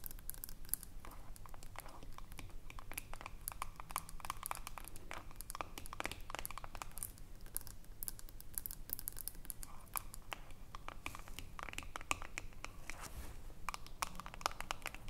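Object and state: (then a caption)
Aluminium screw lid of a glass jar. Long nails scratch and tap the ridged aluminium screw lid of a small filled glass jar. The result is a quiet, fast, irregular stream of bright, dry clicks and scratchy, crinkly rasps that die away almost instantly, over a low steady background rumble.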